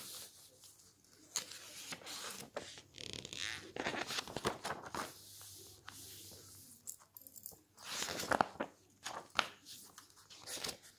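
Fingertips and a palm rub, smooth and press across the pages of a large, open glossy paper magazine lying flat on a table, with pages turned in between. Soft, dry papery rustling alternates with sharper, bright crinkling swishes and quick flipping sounds, with short quiet gaps between bursts.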